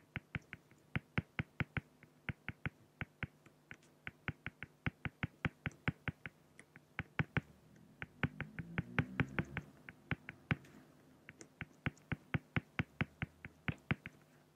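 A pen tip hatches lines across a flat, solid acrylic (plexiglass) sheet, producing a rapid, steady series of short, sharp ticks with almost no ring. Around the middle, a softer, lower scratching swell rises under the ticks before they continue crisp and evenly paced to the end.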